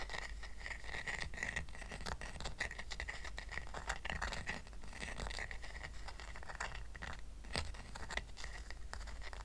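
Fingertips scratch and tap the woven surface of a small, round, flat woven rattan coaster held up in the hand. A dense run of dry, crackly scratching and quick light taps, with a faint bright rasp near 2 kHz, continues over a steady low hum.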